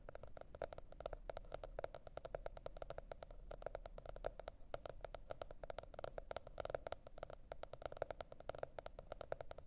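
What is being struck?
Cardboard hardcover notebook.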